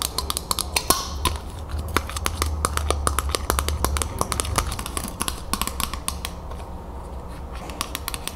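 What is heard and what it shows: A thin, flat, round tin-plated steel Ball mason jar lid, held in both hands, is tapped and scratched with long acrylic nails. Quick, bright clicks and taps come in irregular bursts, with short metallic pings around 1 kHz over a low steady hum.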